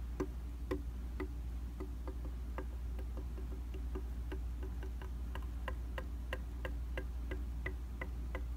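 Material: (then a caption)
Glass. A rubber-tipped tool held in the hand taps repeatedly on the dry glass of a round vanity makeup mirror. The taps come as soft, short, fairly irregular ticks, about two per second, over a steady low hum.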